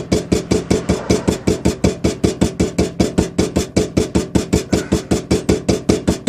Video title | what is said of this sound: Toyota Celica Power Steering Pump Rebuild | you heard the sound change cuz that's when you start tapping on the outer part of the housing and you know it's seated good